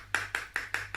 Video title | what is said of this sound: STEM on Saturday with Sarura Kids | has a funny sound because it sounds like metal